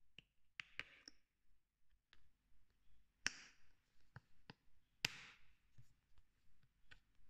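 Fingers flick the green flip cap of a white plastic lotion bottle open and shut. About seven sharp, bright plastic clicks snap out with almost no ring, scattered irregularly among soft, quiet handling rustles.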